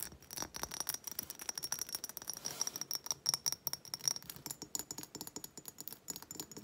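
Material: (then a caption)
Glass. A hobnail glass reed diffuser bottle with wooden reeds is held and then set on a table while long nails tap and scratch its textured glass. The result is a rapid stream of short, bright clicks and glassy scrapes with a faint high ringing tone.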